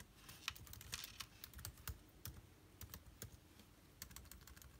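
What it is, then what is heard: Plastic laptop keyboard. Fingertips of both hands type on the plastic keys of a backlit MacBook Air keyboard. A quiet, rapid stream of short, dry clicks has a bright, crisp top and a soft low thump beneath each press, and none of them ring on.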